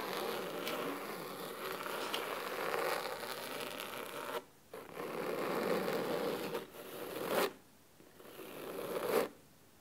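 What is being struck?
Cloth-bound hardcover book.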